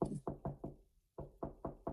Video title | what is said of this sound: Coisas que eu estranhei nos EUA | o barulho parece que tá oco né por dentro